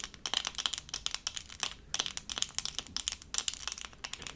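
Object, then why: Plastic rhinestone sticker. A small, thin, solid, doll-shaped diamond-painting sticker covered in tiny plastic acrylic rhinestones is held up in both hands and tapped and scratched with long purple acrylic nails. The result is a rapid, uneven stream of crisp, bright clicks and dry crinkly scratches with almost no low end, each one ending instantly without ringing.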